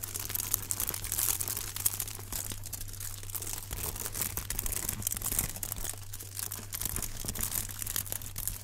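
A rectangular block wrapped in crinkled aluminum foil is held up in both hands while gloved fingertips squeeze and scratch the foil. Dense, bright crinkling and crackling continue throughout over a steady low hum.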